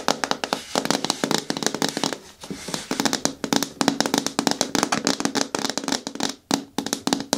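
Long nails tap quickly on the sides of a green hard plastic bucket bin with a lid and handle, held in both hands. The result is a rapid run of sharp, bright clicks over a hollow tone near 280 Hz, with each tap dying out almost at once and brief pauses between bursts.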